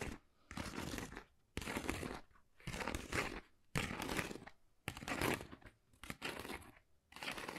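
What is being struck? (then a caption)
Textured cardboard folder. Long nails scratch across a flat, pale pink, pebble-textured cardboard Dior folder that is thin and hollow. The result is about seven separate bursts of dry, broadband scratching and crinkling that reach into the highs, with near silence between strokes.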